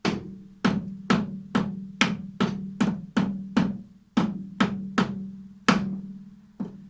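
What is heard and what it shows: A damaged steel lathe cutting tool held in a 4-jaw chuck is tapped 13 times, before machining, to check that it sits flat against the chuck and the newly machined surface. Each tap is a sharp, short knock with a steady low ring near 200 Hz that dies away quickly. The taps sound solid, showing the tool is properly seated.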